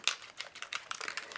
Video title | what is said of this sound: Two Minute Tip - NO MORE CLOGS! Storage & Organization - How To Store Spray Inks & Mica Mist | The other way you're going to know is if it contains mica is when you start shaking it. If I shake this one, you can hear it has a silver ball in it.